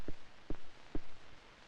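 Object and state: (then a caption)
Baked-through bread loaf (hollow). A loaf of homemade bread, baked for 40 minutes, is tapped three times on its bottom to check whether it is done, giving short, dull, low hollow thumps that die away almost at once. The hollow sound shows the loaf is done; otherwise it would go back in the oven for a few more minutes.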